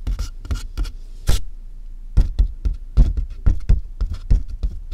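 Both hands rapidly scratch and tap the top of a medium, closed, hollow corrugated cardboard box with a microphone inside, using fingertips and nails. The result is a quick, uneven run of deep, boomy, short thumps with brief bright scratchy edges, broken by a short pause before the tapping resumes.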